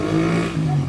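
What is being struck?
Nothing is struck.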